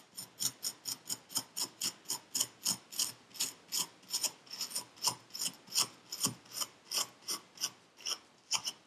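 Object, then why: Kinetic sand in a paper cup scraped with a metal needle. A metal needle tool scrapes the surface of purple kinetic sand packed into a paper cup in quick, steady strokes. Each stroke makes a short, bright, gritty rasp with almost no low end, repeating about thirty times in a rhythmic pattern.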